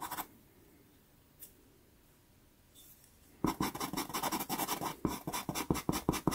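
A light wooden pastel pencil, held flat, is drawn back and forth across a small taped sheet of sanded Pastelmat pastel card. A brief scratch and a faint tick are followed by near-silence, then a run of rapid, dry, gritty scratching strokes with a bright, hissy edge.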